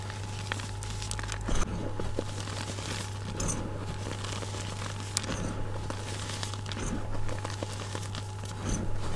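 Loose white gym chalk powder (magnesium carbonate) packed in a bowl is pressed down with palms and fingers, squeezing and crushing the clumps together. Soft crunching and crinkling textures run continuously over a steady low hum, with a few sharper crackles standing out.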